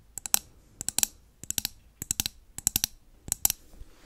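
A blue-labelled glass candle jar with its lid on, filled with wax and held close to the mic, is tapped quickly with long nails. About 19 sharp, bright clicks come in short bursts of three or four, each dying away almost instantly with no ring.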